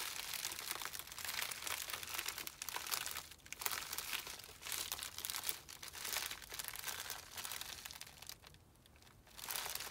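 Thumbs and fingertips press and rub the plastic surface of a small white poly bubble mailer with a printed label, holding a small item inside. The result is a steady, bright, crackly crinkling with almost no low end. It swells and dips throughout, with brief quieter pauses around 3.5 seconds and between about 8.5 and 9.3 seconds before resuming.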